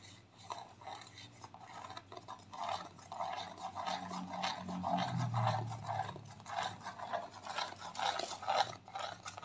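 Long nails rub and scratch a white plastic clay mask tube held horizontally. The result is a steady run of dry, rasping scrapes at about two strokes per second, centered in the midrange with some bright edge. A faint low hum rises briefly in the middle of the clip.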